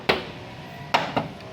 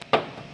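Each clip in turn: First: original sheet-metal car panel, no body filler. Second: body filler under car paint, dull knock.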